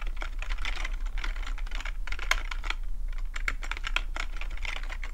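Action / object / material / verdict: tap / plastic computer keyboard / plastic / none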